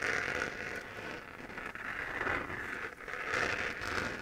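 A hollow, textured 3D-printed plastic moon lamp, a sphere glowing white, is held in both hands and scratched with fingernails. It makes a steady, dry scratching rasp centered in the upper mids around 2 kHz, with a bright hiss above. The sound swells and eases in slow waves as the nails move across the bumpy surface.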